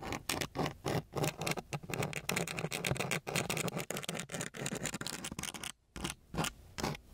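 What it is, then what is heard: Sandpaper sheet scratched. A gloved hand scratches the grit of a coarse brown sandpaper sheet with the tip of a wooden stick. It makes a rapid series of short, raspy strokes with a bright, gritty edge, with a brief pause near the end before the scratching resumes.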